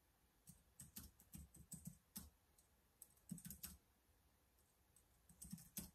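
Fingertips type on the keys of a black plastic laptop keyboard, giving about eighteen soft, quiet key taps in three bursts separated by short pauses. Each tap is a dull low thud with a faint bright click on top, and each dies away almost at once.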